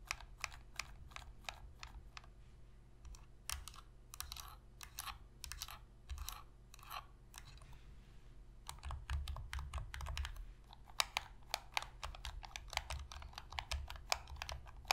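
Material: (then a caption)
Plastic. Long nails tap rapidly on the shell and triggers of a hollow black plastic Sony PS3 controller held on edge. The result is dense bursts of sharp, bright clicks that stop almost instantly, over a steady low hum.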